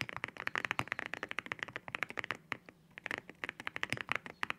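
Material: Ceramic.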